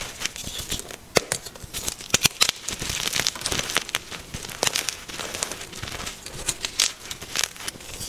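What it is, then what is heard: Gym chalk block being crushed. A soft, white, solid and crumbly magnesium carbonate gym chalk block is held in both hands with pink-nailed fingertips and squeezed, snapped and crushed into chunks over a pile of chalk powder. The result is a dense run of dry, bright crackling and crunching, with sharp snaps that cut off instantly and almost no low end.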